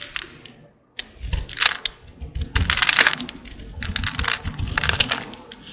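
A small utility blade with a green handle carves and scrapes a dry, solid green Old Spice soap bar held in the hand, shaving off powdery flakes. The result is a run of crisp, bright, crumbly scraping strokes with dry crunchy texture, broken by a brief silence just before the one-second mark.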